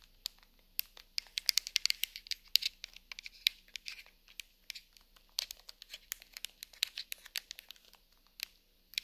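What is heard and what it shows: A hollow handheld plastic TV remote with rubber buttons, lying on a fabric sofa, is tapped and scratched with long nails over its buttons and casing. Dozens of quick, dry, bright clicks and scratchy ticks come in uneven bursts, each dying away instantly, with almost no low end and quiet gaps between.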